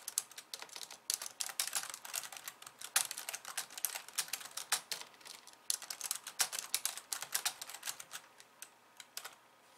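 Long painted nails type steadily on a pink low-profile plastic computer keyboard with white keys resting on a wooden desk. The result is a rapid run of bright, crisp plastic clicks and taps with almost no low end, each dying away almost instantly. The rhythm varies in loudness and pauses briefly partway through.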